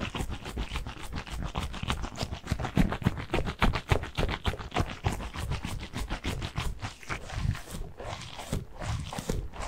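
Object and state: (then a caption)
Gel bead squishy stress ball. A squishy stress ball full of blue water gel beads is squeezed and scratched with the fingertips. It makes a rapid, somewhat uneven run of short, soft squelching scratches, about three to four per second. The sound is weighted toward low, muffled thuds, with faint crackly bright edges and no ringing between strokes.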